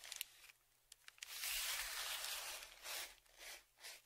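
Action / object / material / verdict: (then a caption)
scrape / kraft paper padded mailer / paper / none. A dark, flat wooden stick like a tongue depressor scratches and scrapes along the crinkled surface of a large brown kraft paper Amazon padded shipping envelope that lies flat under one hand. A few quick, dry ticks lead into a long, bright, hissing scrape, followed by three shorter rasping strokes that fade between passes.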